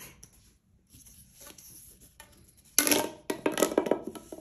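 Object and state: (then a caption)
Plastic pop tube. A single hollow pink corrugated plastic pop tube, about 30–60 cm long, is held in both hands with fingertips and long manicured nails and stretched, compressed and bent so its ridges pop and crackle. Faint, scattered ticks over near silence give way to a sudden loud burst of dense, bright crackling. After a brief dip, a second run of sharp pops and rattling crackles continues to the end.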